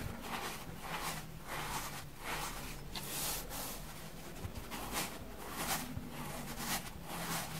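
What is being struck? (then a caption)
Porous foam sponge. A soft, grey, porous, dusty foam sponge is squeezed, bent and crumpled with both hands and fingertips with painted nails. Repeated soft, crackly rustling and brushing bursts rise and fall over a steady low hum. The crinkly hiss carries into the high range with each squeeze.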